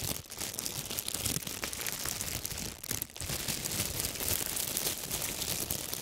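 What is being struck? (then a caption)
Large thin plastic bag. Both hands grip a large, thin, clear plastic bag, empty and crumpled, and crinkle and crush it close to the microphones. The crackling is dense, bright and almost constant, heaviest in the high range. The level stays steady except for a few brief dips around three seconds in.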